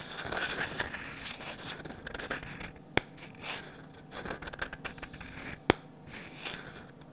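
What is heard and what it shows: A medium glossy orange varnished wooden ladle is held in both hands while fingernails scratch and rub along its curved handle. Soft, bright scratching and rubbing sounds come in uneven bursts, with two sharp clicks standing out near the third and sixth seconds.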